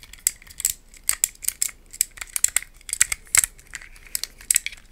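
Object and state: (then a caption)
Plastic puzzle cube. Long nails tap and scratch a small green-tiled plastic puzzle cube held in both hands, producing a quick, irregular series of sharp, dry clicks and scrapes. The sound is bright and thin, with almost no low end, and each click stops instantly with no ring.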